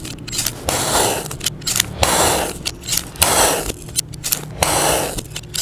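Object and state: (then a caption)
Kinetic sand being sliced. A utility knife blade slices thin layers off a solid, palm-sized yellow kinetic sand mound, with an untouched blue sand dome nearby. Four long, bright, grainy scrapes rise and fade as the blade cuts through the granular sand, separated by soft crackles and small ticks.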